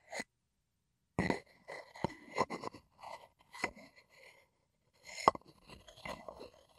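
A wooden pestle is scraped and ground inside a light, hollow, empty wooden mortar held in the hand. Short, dry scraping and grinding strokes come in separate bursts with brief pauses, carrying a woody mid-range tone around 1 kHz and a faint bright edge. Each stroke dies away almost immediately, with little ring.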